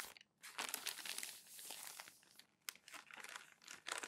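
Newsprint newspaper sheets are crumpled and smoothed down by palms on a desk, giving dense, bright crinkling and crackling with softer rubbing swishes between bursts. The sound comes in irregular bursts with short pauses, the crisp paper noise sitting almost entirely in the high range with no low end.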